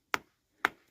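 Two sharp taps on a spot of bluestone in a quarry bed give short, bright clicks centred around 1.5 kHz that die out almost at once. The stone sounds tight, meaning the layer is solidly bonded.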